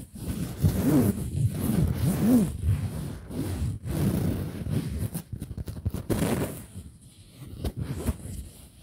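Fingers and nails grip and scratch a soft printed fabric pillow up close. The result is a continuous, muffled scratching and rustling that swells and fades irregularly. It is mostly low and dull, with only faint brighter hiss on top.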